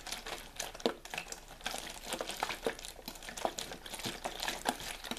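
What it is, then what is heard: Plastic water bottle. Fingers squeeze, crinkle and tap the ridged walls of a clear plastic water bottle with a label and cap, hollow and possibly holding a little water. A steady run of dry, bright crackles and crinkles is broken by sharper, louder taps that die away almost at once, with very little low end.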